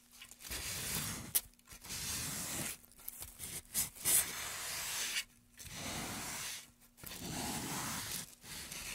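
A gloved hand scrapes and carves inside the groove of a solid light wooden pen tray lying on a mat, using a blade. Long, bright, rasping scraping strokes come in bursts separated by short pauses, with a few sharper clicks of the blade against the wood.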